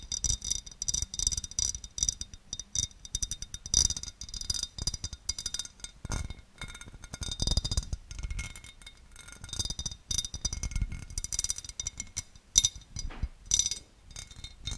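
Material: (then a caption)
Glass. A large, empty oval serving dish of clear cut glass is held close and tapped and scratched with long, dark-painted nails. Quick, bright clinks with almost no ring mix with a steady, high scratching rattle and soft low thumps throughout.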